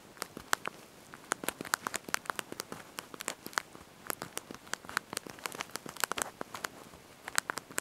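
Thumbs and fingertips press and tap the small backlit plastic keys of a handheld slide-out mobile phone's QWERTY keyboard while typing a message. About forty quick, dry, bright clicks come in uneven bursts with short pauses, each snapping off instantly over a faint, quiet background hiss.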